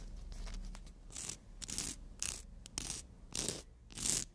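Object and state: Emery board nail file.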